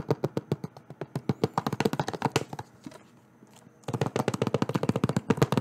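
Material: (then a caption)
Plastic. Fingertips and nails tap rapidly on a hollow, thin-walled, green-edged plastic Xbox DVD-style game case held in one hand close to the microphone. Around thirty short, dry clicks come in quick bursts, with a brief quiet pause in the middle before the tapping resumes.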